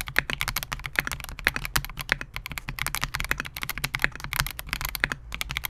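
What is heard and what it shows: A compact 68-key Melgeek MOJO68 mechanical keyboard with Gateron G Pro silver switches, a clear polycarbonate case and SA-profile plastic keycaps rests on a desk mat while the fingertips of both hands type continuously. Fast, bright, clacky keystrokes follow one another in a dense stream, each a short sharp click with a quick decay over a faint low hum.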